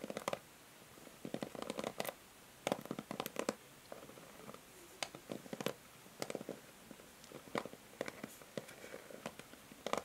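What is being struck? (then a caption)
Plastic paddle hair brush. Long nails scratch across the plastic pins of a pink and white plastic paddle hair brush held in the hand. Quiet, irregular bursts of short, dry clicking scratches sound against near silence, with a bright, crisp edge and no ring after each stroke.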